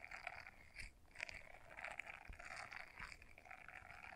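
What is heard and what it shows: Long nails scratch the bristles of a small blue silicone scrubber brush folded in half. The result is a quiet, continuous, bright scratchy crackle with a steady rubbery rasp centered around 2 kHz and occasional slightly louder flicks.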